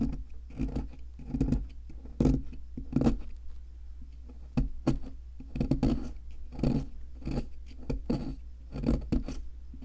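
A wooden-handled metal chisel scrapes and chips at a solid white plaster fossil excavation block. Short, dry scraping and chipping strokes come in uneven bursts over a steady low hum, each stroke dying away almost at once.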